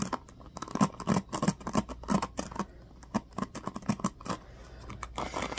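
Fingertips and nails strum and scratch across the teal-tipped plastic pins of a small black plastic paddle hairbrush throughout. The result is a run of quick, dry plucking clicks and brief rattling strums with a low hollow tone, separated by softer continuous scratching.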